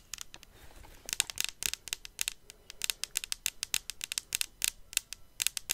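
Long acrylic nails tap and scratch along a grey and pink Dyson Airwrap-style hair styler handle, a hand-sized hollow cylinder of metallic-finish plastic held upright over its case. Many quick, bright, dry clicks and scrapes with almost no ring come in an uneven stream throughout.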